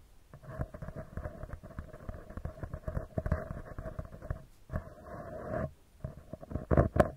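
A round, hollow metal mesh microphone grille is gently tapped with the fingertips of both hands in a quick, continuous flurry. The taps give soft, low thumps with a hollow, ringing metallic tone around 600 Hz. A short steady rubbing stretch comes partway through, and the last few taps are louder.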